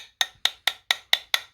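A new replacement part from a Toyota Sienna timing belt and water pump kit is knocked six times to check whether it is metal. Each knock is a short, dry, bright click with almost no ring, like a wood block. The part is judged not to be metal and appears to be plastic.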